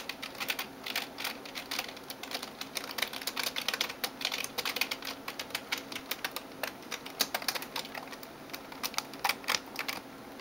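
Long nails tap and type on the keys of a backlit plastic gaming keyboard. Rapid, irregular, bright clicking fills the clip, with sharper clacks standing out, and almost no low end.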